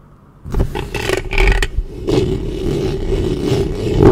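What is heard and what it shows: Long fingernails of both hands cup and scratch the metal mesh head of a black studio microphone. After half a second of near silence, a dense, rough scraping begins in bursts, then settles into a continuous rasp with a deep low rumble and a steady mid-pitched hum. It swells louder at the very end.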